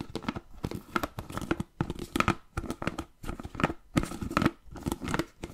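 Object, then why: Plastic food container with plastic lid. Fingertips and nails tap and scratch the blue plastic lid and sides of a medium-sized, hollow, clear plastic food container that appears empty. Quick, dry taps and clicks come in clustered bursts, mixed with brittle scratching and crinkling, and each hit stops almost at once with a faint hollow plastic tone.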